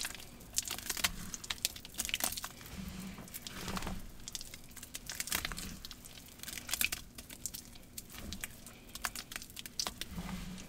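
Both hands knead and squeeze a thick, lumpy green paste of wet cornstarch and gym chalk in a large plastic bowl. Dense, bright crunching and crackling bursts repeat throughout over softer, low squishing swells.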